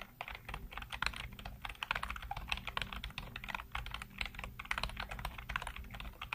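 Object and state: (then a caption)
Plastic computer keyboard. Fingertips type rapidly on the keys of a black plastic backlit computer keyboard. The result is a continuous, fast patter of short, sharp clicks and clacks with a bright plastic clatter centered around 2–3 kHz. A steady low hum runs underneath.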